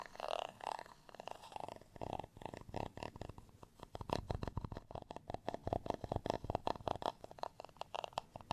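A black tweezer-like tool with a round tip is scratched across the dimpled surface of a textured beige plastic rice paddle, flat and solid and held in one hand. The result is a rapid series of short, dry, raspy scrapes with a hollow midrange tone near 700 Hz, coming in uneven bursts that grow denser in the second half.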